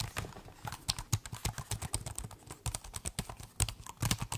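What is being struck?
Laptop keyboard, plastic keys.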